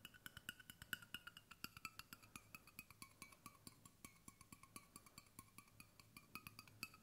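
Fingertips tap the flat bottom end and the side wall of a hollow stainless steel water bottle in a quick, steady run of light taps. Each tap is short and dry with almost no ring, giving bright, hollow clicks with a ringing tone around 1.5 kHz over a faint low thud.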